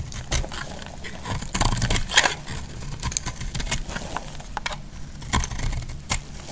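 A metal utility blade cuts and scrapes a solid orange bar of soap, making dry, crackly scraping with sharp bright clicks over a low rumble. Pieces crumble off the bar as the blade works through it.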